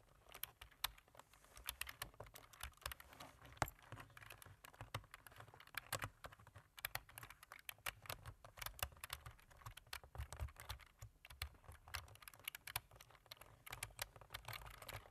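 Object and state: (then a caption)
Plastic computer keyboard being typed on. Both hands type quickly with their fingertips on a black plastic computer keyboard, tapping the keys. The result is a dense, steady stream of short, bright plastic clicks with a faint low hum underneath, at a quiet level throughout.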